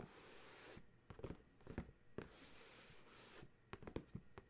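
Fingertips tap and scratch the top of a paperboard dryer sheets box resting on a towel, the hands moving over its surface. Two long stretches of bright, hissy scratching alternate with clusters of short, dull taps that die away almost instantly. The whole clip stays soft and close.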